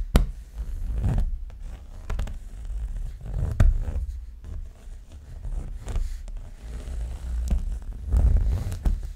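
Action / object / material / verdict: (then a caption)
scrape / paper art print / paper / none. A thin, roughly letter-size sheet of paper or cardstock printed with a dreamcatcher design is held up in one hand while an index fingernail scratches and rubs its surface, with the microphone below the sheet and untouched. The result is a dull, bass-heavy stream of papery rubbing and scraping, broken by short sharp ticks and brief louder swells.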